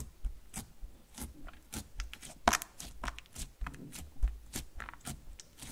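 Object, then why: Slime sheet. A flat sheet of soft, solid, glossy black-silver metallic slime resting on a green table is pressed and poked with fingertips and a palm. It gives off a quick, irregular series of short, sticky pops and crackly snaps with bright edges over a low, soft squish. The sounds die away almost instantly.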